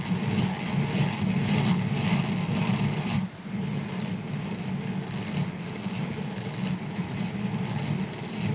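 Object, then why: Silicone scrubber sponge. Fingertips of both hands scratch the bristles of a grey silicone scrubber sponge lying on a fur rug. A steady, dense scratching rustle with a strong low buzzy band near 200 Hz and a bright hiss on top carries on throughout. It dips briefly just after three seconds, then continues slightly quieter to the end.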